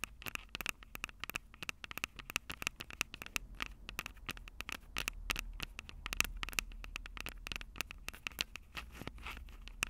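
Long purple acrylic nails tap and scratch the two small crossed metal mesh microphone capsules of a Tascam DR-05 handheld recorder, which sit on its hollow plastic body. Dozens of quick, sharp, bright clicks with a tinny ring near 2.7 kHz come in rapid, uneven bursts, mixed with scratchy rustling over a low rumble.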